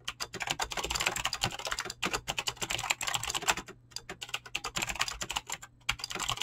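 A mechanical keyboard with clicky green switches and PBT plastic keycaps is fast-typed with fingertips. Rapid, bright, crisp clicks come in dense bursts with brief pauses. Each short tap dies away almost instantly.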